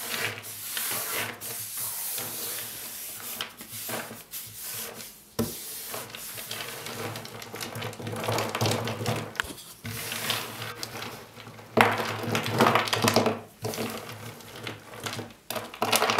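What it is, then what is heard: Crumbled pieces of laundry soap. Bare hands scoop up handfuls of solid chunks and shavings cut from a bar of white Ushasty Nyan laundry soap, then rub and crumble them and let them fall back onto the pile on a white surface. A continuous dry, crackly rustle with bright scratchy texture is heard, swelling in short bursts and with sharper crunches near the end.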